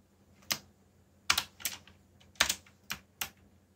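Fingertips tap the keys of a backlit black plastic mechanical keyboard while typing, producing eight short, bright clicks at an uneven pace. Some clicks come in quick pairs, and each one dies away almost at once over a faint low hum.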